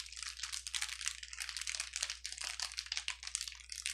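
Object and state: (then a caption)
Plastic bubble wrap. A clear plastic bubble wrap sheet lies flat on a table and is pressed and rubbed with the fingertips of both hands. It makes a dense, bright, continuous crinkling with quick, sharp pops that die away almost instantly. A faint steady low hum sits underneath.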